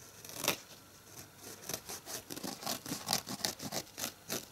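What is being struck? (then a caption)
Foam kitchen sponge with abrasive scouring pad. Fingernails scratch across the green scouring-pad side of a red foam kitchen sponge held in one hand. Quick, dry, bright scratching strokes come in an uneven rhythm, with almost no low end and no ring after each stroke.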